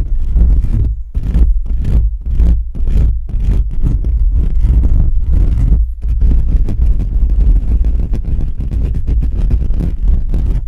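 Fingertips of both hands quickly scratch and rub the bare perforated metal mesh grille on the hollow head of a black USB condenser microphone. The direct contact noise comes through as a deep, boomy rumble with faint scratchy texture above it. For the first six seconds it arrives in short bursts with brief gaps, then it becomes a steady, continuous rubbing.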